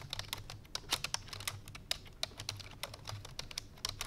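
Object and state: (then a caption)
Plastic computer keyboard. Fingertips with long painted nails rapidly press the keys of a full-size black plastic computer keyboard resting on a white fur rug. Fast, irregular typing taps come as bright, clicky ticks that die away almost instantly, over a faint low hum.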